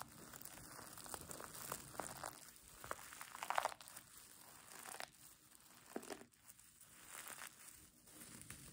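Long nails and fingers crumple and scratch the soft pink fleece side of a mermaid tail blanket with a sequin edge, held in both hands. The result is a steady stream of soft, dry crinkling and scratching with bright hiss and almost no low end, broken by sharper rustling bursts.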